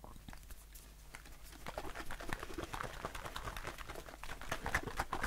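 A blue aluminium aerosol shaving foam can held in the hand is tapped with fingertips and short nails. The result is a quick, uneven patter of soft, dull taps with a low body and very short ring, plus brighter nail clicks that grow louder toward the end.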